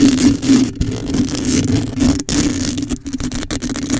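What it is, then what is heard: Metal mesh microphone grille being scratched. Long acrylic nails on both hands scratch the hollow metal mesh grille of a black microphone. The result is a dense, continuous scratching and rasping with a steady low hum near 280 Hz underneath, broken by a few brief near-silent gaps.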